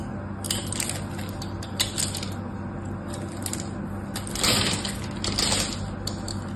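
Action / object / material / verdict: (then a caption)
scrape / bar of soap scraped with a small metal knife / soap / none. A solid pink bar of soap, held in a hand with long orange nails, is carved and scraped with a small metal knife, breaking crumbly chips off. Crisp, bright scraping and crunching ticks come in uneven bursts over a steady low hum, with the loudest crumbling near the end.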